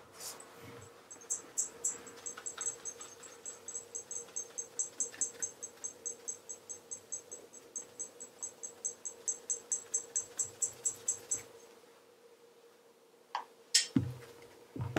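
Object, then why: Leather loafer toe rubbed with a cloth. A hand-held black polished leather REGAL wingtip tassel loafer, hollow with a wooden shoe tree inside, has its toe rubbed quickly with a blue cloth wrapped around the fingertips for a mirror-shine polish. The result is a fast, even run of bright, squeaky rubbing strokes over a faint steady hum for about eleven seconds. After a brief quiet, a few louder, sharper sounds close the clip.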